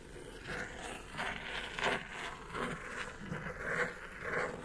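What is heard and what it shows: Long nails scratch and tap across the top of a hollow brown kraft cardboard mailer box. Soft, papery scraping strokes rise and fall in uneven bursts, with a faint hollow resonance under them.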